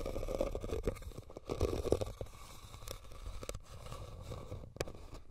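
A hollow red woven rattan basket is scratched and tapped with the nails. Dry, crackly scraping mixes with soft, irregular taps, carrying a low rumble and a midrange hollow tone.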